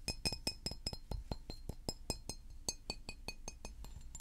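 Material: Glass.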